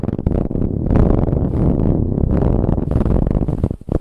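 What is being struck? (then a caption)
Soft ribbed fabric pillow. Long acrylic nails vigorously scratch the surface of a large, soft pillow covered in brown striped ribbed fabric. The result is a dense, continuous, muffled scraping and rustling, heavy in the low end with almost no brightness, briefly dipping near the end before resuming.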